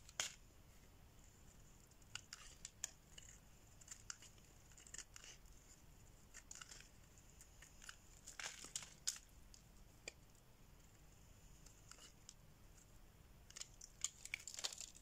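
A solid oval orange bar of dry soap, held in the hand, is shaved with a metal blade so curls peel off. The result is quiet, bright, crisp scraping and short dry clicks over a faint steady hiss, bunching into denser bursts near the middle and at the end.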